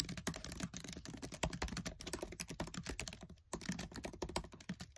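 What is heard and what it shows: Fingertips with short nails type fast on a MacBook Air keyboard, its black plastic keys set in an aluminium body, producing a dense, rapid stream of crisp clicks and soft thuds. The steady keystrokes run throughout with only a brief pause near the end.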